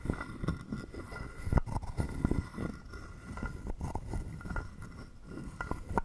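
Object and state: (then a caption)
Carved wooden frog guiro. A hollow carved wooden frog guiro is held in hand while a wooden stick scrapes along its ridged back. The result is a series of dry, low, rattling scrapes with short clicky attacks and almost no ring, and louder strokes stand out now and then.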